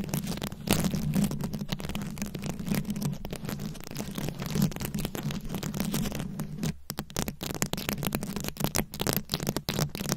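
Long acrylic nails scratch and tap across a fist-sized microphone head fully covered in small glued-on rhinestones and beads. The result is dense, continuous crackling and scraping with quick clicky taps, sitting over a steady low hum, with a brief lull near the end of the clip.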